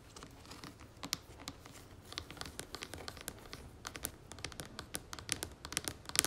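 Long fingernails tap and scratch the top and sides of the red screw lid on a medium plastic jar of pomegranate moisturizing cream, likely full, standing on a marble-pattern surface. Quiet, dry, bright clicks come in a quick irregular stream over a soft scratchy rustle, each tick dying away almost instantly. The taps grow a little sharper toward the end.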